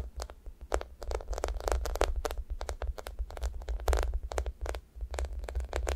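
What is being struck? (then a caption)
Foam squishy toy with a sticky surface. Long nails scratch across the sticky top of a thick, solid sticky foam squishy toast. A quick run of short, bright, crackly scraping strokes, each peeling off with a faint tacky sound, rides over a steady low hum.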